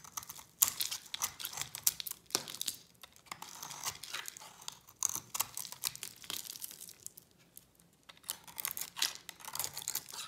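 A utility knife blade scrapes the purple coating and white inside off a solid, dry bar of soap. The result is a run of bright, crisp scraping and crackling strokes with almost no low end, briefly going quiet before the scraping picks up again.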